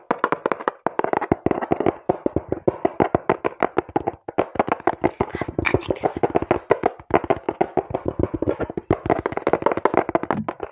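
A small, hollow brown cardboard box is held close to the microphone and tapped and scratched quickly with fingertips and long nails. The result is a fast, steady stream of dry, hollow midrange taps that stop dead with no ring. Brighter scratching bursts come through around the middle.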